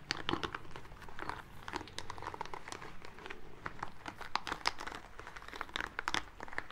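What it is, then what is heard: Rubber spiky ball being rubbed. A small green rubber spiky ball is rubbed between the palms and fingertips, making close, continuous crinkly squeaks and rustles. Dense, short, bright bursts ride over a low rumble, with no pauses between them.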